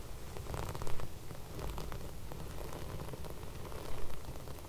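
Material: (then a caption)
Sequins. Fingertips and long red nails rub and scratch across flat silver sequin fabric, making a dense, rain-like crackling patter over a steady low rumble. Two louder scratchy bursts stand out, one near the start and one near the end.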